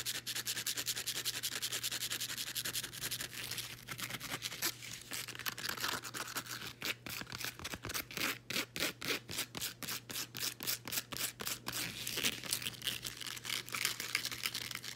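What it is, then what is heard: Woven elastic fabric band being scratched. Nails rub and scratch the textured surface of a folded blue woven elastic fabric resistance band. A dry, bright, scratchy rasp comes in rapid, loosely rhythmic strokes that grow more distinct and pulsing midway through. A faint steady low hum sits underneath.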